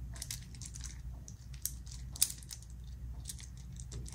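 The fingertips of both hands repeatedly fold and flip a small black metal infinity cube fidget toy made of hinged solid blocks. Its segments click against each other in quick, bright, dry ticks that fade almost instantly. The clicks sit over a steady low hum, with a couple of sharper snaps standing out near the middle.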